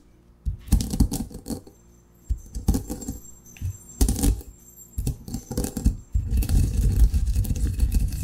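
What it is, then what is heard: Coffee beans ground in a granite mortar. A granite pestle grinds cracked coffee beans in a granite mortar with a circular motion. It makes irregular bursts of crunching and clacking, heavy in the low end with bright, gritty edges. The last two seconds turn into a continuous, dense grinding.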